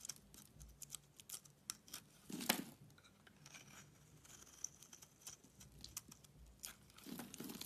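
A box-cutter blade scrapes curly shavings off a solid white bar of soap with a yellow coating, held in the hand. Soft, bright, crisp scraping and crackling ticks come in quick, uneven strokes, with a louder, fuller scrape partway through and another near the end.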